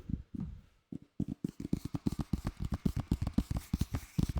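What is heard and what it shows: Fingers tap on a plastic Lord of the Rings DVD case received as a Christmas gift. A few scattered taps are followed by a quick, steady run of dull, low, hollow clicks that stop almost instantly.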